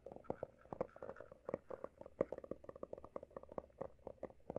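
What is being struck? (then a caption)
Hardcover notebook with embossed cover. Fingertips of both hands quickly tap and scratch the solid, closed cover of a textured hardcover notebook with a pale blue embossed cover. A fast run of short, dry, hollow-sounding taps centered in the midrange is heard, with faint scratching between them and no ringing after each tap.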